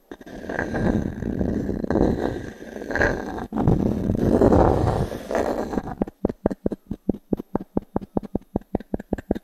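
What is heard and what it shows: A small wooden cube is scraped across a solid round pine log-slice coaster held in the palm, making a continuous rough, woody rubbing for about six seconds. It then switches to a quick, steady series of dry, short taps on the wood with a hollow mid-low knock and almost no ring.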